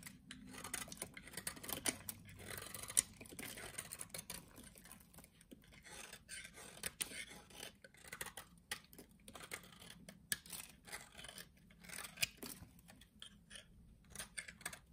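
A solid pink bar of soap, held in the hand, is scraped and shaved into flakes with a utility knife blade. The result is a quiet, continuous stream of short, crisp, bright scraping strokes that crowd together with little low end, with a few sharper rasps standing out.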